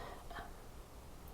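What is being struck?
Nothing is struck.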